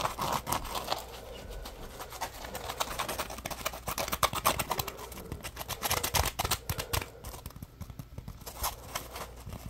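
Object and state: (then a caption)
Foam scrub sponge scratched and squeezed. Fingertips and short nails scratch and squeeze a solid, palm-sized yellow porous polymer foam Scrub Daddy puppy sponge. Dense, dry scratching and rapid crackly clicks run throughout with bright, crinkly texture. Close, short bursts swell and fade with no ringing tail.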